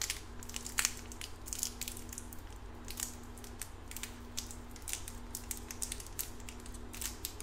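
Fingers crumple and crinkle the clear plastic wrapper on a small red lollipop with a white stick while it is held up and then lowered. Quick, bright crackles come in irregular bursts over a steady low hum and a faint on-off tone in the low mids.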